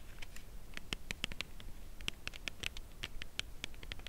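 A dark brown Lindt Creation Caramel cardboard box holding a chocolate bar is held horizontally and tapped along its side with long acrylic nails. Quick, dry, clicky taps come in an uneven rhythm, each bright with a tone near 3 kHz and dying away almost instantly over a quiet, low rumbling background.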